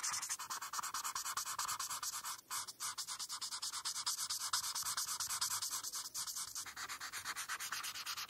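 A felt-tip marker is rubbed back and forth on a flat paper coloring page, filling in the yellow band of a rainbow. Fast, steady scratchy strokes make a bright, airy hiss with almost no low end, broken by a couple of brief pauses near the start.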